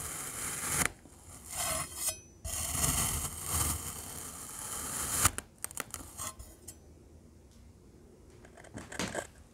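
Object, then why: Kinetic sand cylinders cut with a metal knife. A rainbow metal knife slices horizontally through stacked solid cylinders of black glittery kinetic sand, making soft, bright, gritty scraping and crunching bursts. Each stroke brings a rush of high hiss, then the cuts give way to fainter crackles and light ticks before a final short scrape.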